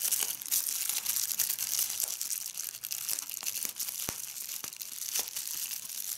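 Clear plastic bubble wrap is held up in a fold while fingers pinch and pop individual air bubbles, crinkling the sheet. The result is a steady, bright, hissy crinkle with no low end, broken by quick, sharp pops that die away instantly.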